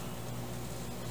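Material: Nothing is struck.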